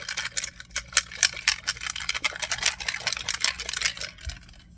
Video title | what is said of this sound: Makeup and Beauty Haul! - April 2023 | if you listen it's not like just one ball bearing in there there's like a bunch of them